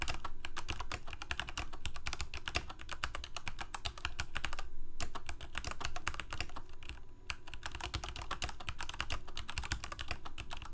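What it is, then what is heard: Plastic mechanical keyboard. Both hands type rapidly with their fingertips on a full-size black plastic Corsair K68 mechanical keyboard with Cherry MX Red switches and blue backlit keycaps, resting on a white desk. A fast, uneven stream of crisp key clacks over a deep, thumpy low end fills the clip. There are brief lulls just before the 5 and 7.5 second marks, and each press dies away almost instantly.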